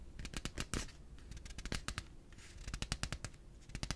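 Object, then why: Plastic piggy bank. A yellow hollow plastic pig piggy bank, held in one hand, is tapped and scratched with the fingertips. It gives a quick, uneven run of short, dry, hollow clicks and taps with bright scratchy edges over a low, dull body. Each tap dies away almost instantly.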